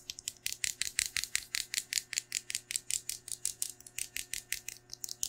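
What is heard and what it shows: A large pink metallic plastic-foil tinsel pom-pom with a white plastic handle is held by hand and shaken and crinkled in front of a microphone. It makes about 30 rapid, evenly paced bursts of bright, crisp crinkling rustle with almost no low end. The result is a steady, rhythmic shimmering crackle that stops cleanly between shakes.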